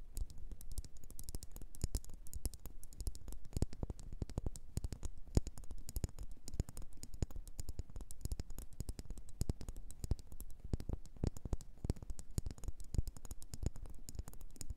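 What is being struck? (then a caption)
Wax pillar candle. Long nails rapidly tap and scratch a solid red faceted wax pillar candle. Dense, dry, muffled taps with very little ring run steadily throughout, mixed with faint scratching.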